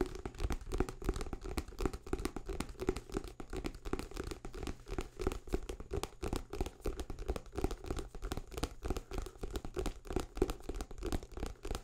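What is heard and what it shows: A thick paperback book with a paper cover and pages is held up in one hand near the microphone while fingertips scratch and rub its cover and page edges. The result is a quiet, steady stream of rapid, irregular dry scratches and crinkles, each very short. They carry a faint papery hum around 375 Hz over a heavy low rumble.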